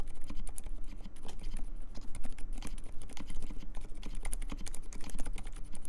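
Fingertips type continuously and fast on the alpha keys of a compact mechanical keyboard with Dolphin silent switches, cream plastic keycaps and a metal case. The result is a rapid, steady stream of soft, muffled keystrokes with a low, dull body and very short decay, each press dying away almost instantly.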